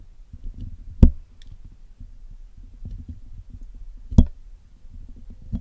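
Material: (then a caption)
Metal mesh. A steel dental pick hooks into and scratches at the black woven metal mesh grille of a Blue Yeti USB microphone, with a pink-stained patch, to clean it while the hollow grille is held in one hand. The result is a close, low, dull rustling scrape, broken by a few sharp, bright clicks that die away almost at once.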